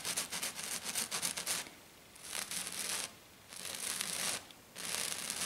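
Long black nails scratch the rough surface of a flat silver glitter-coated sheet on a table with both hands, making bright, dry, hissy scratching. A fast flurry of choppy scratches opens the clip, followed by three longer, steadier scratching passes separated by short quiet pauses.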